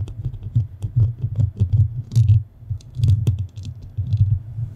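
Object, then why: Metal microphone grille. The nails of both hands scratch across the metal grille of a black studio microphone. It produces a steady run of deep, thumping rumbles with occasional brief, bright scratchy clicks on top.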